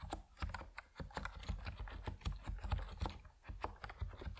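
Steady typing on an Epomaker NiZ Plum Atom 68, a compact plastic mechanical keyboard with white and purple PBT keycaps, as fingertips press the keys in a continuous run. Each keystroke gives a short, deep thock with a quick clicky edge that dies away almost at once.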